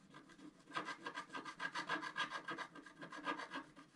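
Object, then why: Wooden stylus on scratch-art card. A wooden stylus scrapes the coating off a flat black-coated scratch-art card, about A4 size, lying on a table, using a rubbing motion. It makes a quiet, dry, scratchy rasp of about fifteen quick, uneven strokes, centered in the midrange with a bright hiss on top. Each stroke dies away almost at once.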